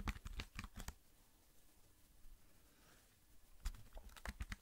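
Fingertips tap and type fast on the keys of a slim black plastic computer keyboard held in both hands. Quick bursts of dry, clicky keystrokes with a low thud under each come at the start and end, separated by a quiet pause of about two and a half seconds. Each click dies away almost instantly.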